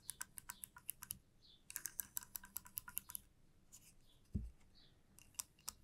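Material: Wood.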